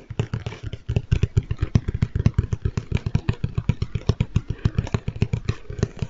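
Fingertips tap rapidly and steadily on a large, hollow Lego Stormtrooper cardboard box held beside the mic. Each tap is a short, dull, boomy thump with a low hollow resonance and almost no bright content. The taps run unbroken for about six seconds.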